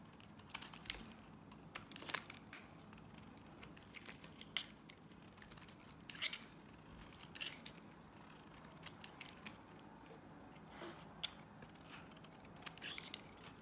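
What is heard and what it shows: A box-cutter blade slices crumbly shavings off the end of a solid pink Nivea soap bar held in the hand. Quiet, dry, crisp crunching and scraping cuts come in short, bright bursts with no ring.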